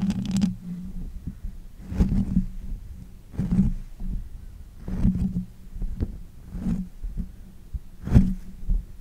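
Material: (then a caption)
Metal mesh. Fingers with long nails cup, grip and scratch the hollow bare metal mesh head of a pink condenser microphone. Heard are repeated soft, muffled thumps and rubbing swells, deep and boomy, with brief brighter scratchy edges on the stronger grips. A low steady hum sits under the pauses between them.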